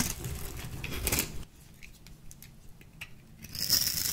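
A small metal blade with a purple handle cuts and shaves a light green bar of dry soap held in the palm. There is a rough, crunchy scraping for the first second and a half, then a quiet stretch of faint, bright crackles and ticks. The scraping returns loudly near the end.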